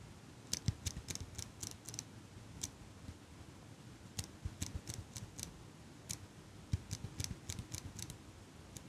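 Fingers with long pink nails squeeze and click the handles of a small metal eyelash curler held close to the mic. Quiet, irregular bursts of sharp, bright metallic clicks and snips come in clusters, each with a soft low thump underneath. The clicks die away almost instantly over a low, steady background hiss.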